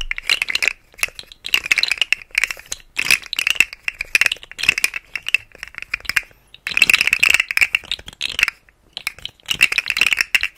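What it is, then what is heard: Plastic articulated fidget slug toy. A rainbow segmented plastic articulated fidget slug toy is held in the fingers and flexed close to the mic, its hollow segments clicking against each other. Bursts of rapid, dry, bright clicks and rattles centered near 2.7 kHz come in quick flurries separated by brief pauses, with almost no low end and no ring after each click.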